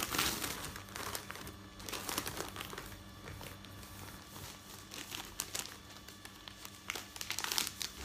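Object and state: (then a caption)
Newspaper sheets being handled. Hands flip, riffle and fold the pages of a folded newsprint newspaper, making crinkling paper sounds. Bright, dense rustles and short crackles come in irregular bursts over a faint low steady hum, with the louder crinkles near the start and end.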